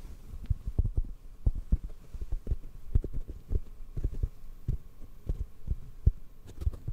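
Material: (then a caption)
Foam. A hollow black foam microphone cover, held near the mic, is tapped with the fingertips. The soft, irregular run of taps makes muffled, very low thuds that die away almost instantly. The result is a deep, dull, heartbeat-like patter with no bright edge.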